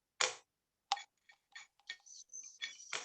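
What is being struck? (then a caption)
Glass or cup struck with a metal spoon. A drinking glass or cup is struck with a spoon, giving a series of bright, ticking clinks with short ring. The taps come irregularly and overlap toward the end, as if several are struck at once, and the struck glass or cup does make a sound.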